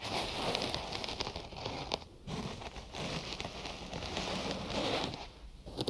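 Fingertips and nails scratch the layers of white cotton gauze bandage wrapped around a binaural microphone, held in both hands and worked over the ear sides. The result is a dense, crackly, rustling scratch across a broad range up to bright highs, running almost continuously with brief quieter dips near 2 and 5.5 seconds.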